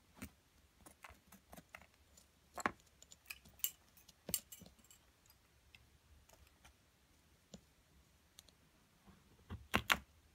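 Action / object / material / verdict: scrape / plaster block worked with a stick and a metal pick / plaster / none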